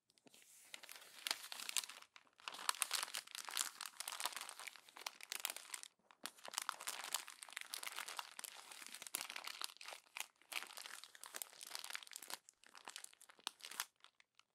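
Hands crumple the pages of a glossy paper magazine, then press them flat with the palm. Dense, bright crinkling and crackling comes in bursts with short pauses between them, with almost no low end.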